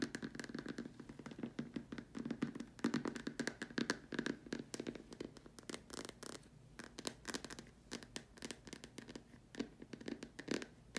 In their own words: This video includes me tapping on a plastic lamp shade.